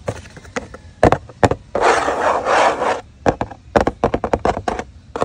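A large, flat, hollow corrugated cardboard Shakey's pizza box resting on concrete is scratched and tapped by fingertips and nails on its lid top and side edge, with a metal ring worn on one finger. Sharp, irregular taps and clicks surround a steady, broadband scratching rub in the middle, and each tap dies away quickly.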